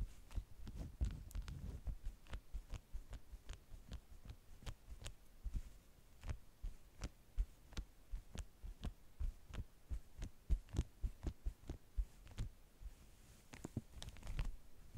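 Long nails tap and scratch with both hands across the waxed surface of a folded stack of beeswax-coated cotton food wraps. A quiet, steady series of short, dry taps is heard, each a soft low thump with a brief bright click, with no ringing and faint scratchy rustle between them.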